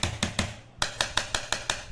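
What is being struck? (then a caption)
Aluminium alloy motorcycle top box. A coin taps the aluminium alloy part of a 45L Mokoto motorcycle top box, in contrast to its plastic part. Nine sharp, bright metallic ticks ring briefly around 1.6 kHz: three in quick succession, a short pause, then six more at an even pace.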